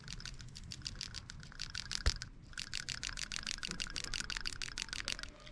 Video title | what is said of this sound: How to Replace PCV Valve on 4.0 V6 Tacoma | there's a little shake in there so actually this thing is good